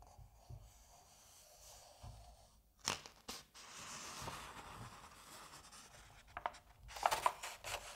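Fingertips rub and lift the thin printed paper pages of a large-format Asterix comic album lying open as a solid book, turning them over. Quiet rubbing gives way to crisp, bright papery swishes and a few sharper flicks as each page is lifted and flipped.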